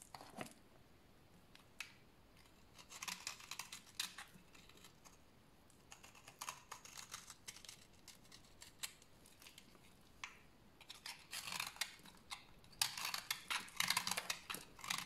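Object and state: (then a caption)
Bar soap being shaved. A utility knife blade shaves a small, solid bar of dry yellow soap held in the hand. Irregular, crisp scraping strokes give a bright, dry rasp with short bursts and quick pauses. The cutting grows denser and louder toward the end.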